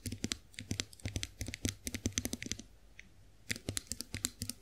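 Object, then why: Chrome-plated face roller. Long acrylic nails tap the handle and roller head of a chrome-finished face roller. About thirty quick, sharp clicks are heard, each bright and crisp with a short low thump beneath it. They come in irregular bursts with a brief pause near the three-second mark before the tapping resumes.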